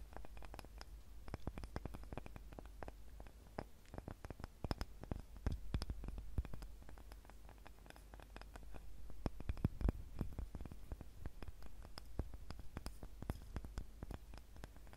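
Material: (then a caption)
Wood. A small, light, solid wooden cutting board with a handle is scratched and tapped with long nails right beside the recorder. Dense, quick clicks and scrapes sit over a low, steady rumble. The activity swells around the middle and again near the end.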